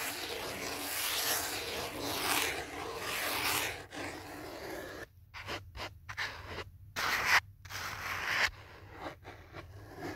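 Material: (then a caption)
Foam. Fingertips and nails scratch and rub along the edges and face of a thick black foam phone holder with a phone inside, held at chest height. For about five seconds there is a steady, bright, breathy scratching hiss. It then breaks into short scraping bursts separated by near-silent gaps.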